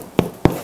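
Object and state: Baked-through sourdough loaf (hollow bottom).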